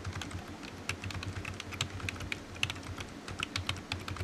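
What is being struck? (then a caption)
Plastic computer keyboard keys. Fingertips type on the hollow keys of a low-profile black plastic computer keyboard resting on a desk mat, making a steady run of quick, clicky taps. Each tap is short and dry, with a bright edge around 2.7 kHz, over a constant low hum underneath.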